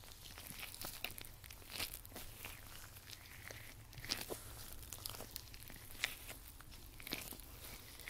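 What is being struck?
Nitrile rubber gloves on both hands.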